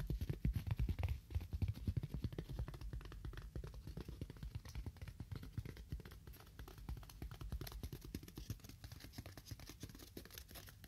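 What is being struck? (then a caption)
Styrofoam block. A styrofoam block is tapped with fingernails at a moderate to fast pace, giving a dense stream of short, dull, low-pitched taps that die away almost instantly. The tapping is loudest in the first couple of seconds, then settles into a steady, slightly softer patter.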